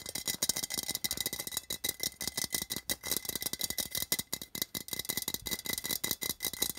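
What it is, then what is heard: Metal tin can. Fingernails tap rapidly on a small, hollow, printed metal tin, first on its side wall and then on its metal end. About thirty quick, bright, clicky taps run together in a rattling stream, each dying away almost instantly with little low end.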